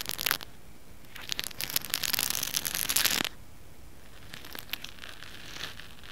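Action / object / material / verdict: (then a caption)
scrape / plastic hair roller / plastic / none. Fingernails scratch a small pink plastic hair roller, a hollow cylinder with bristles and a textured surface, held in one hand. A brief bright burst of scratching is followed by a longer, denser stretch of crisp, high rasping, then softer, fainter scratches toward the end.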